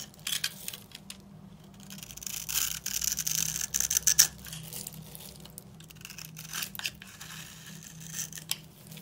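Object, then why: Bar of soap. A steel utility knife blade scrapes across a dry, hand-sized solid purple bar soap, pre-scored into a grid and held in the hand, flaking off small cubes. The sound is bright, dry scraping and crunchy crackles in short bursts of varying strength. A faint, steady low hum runs underneath.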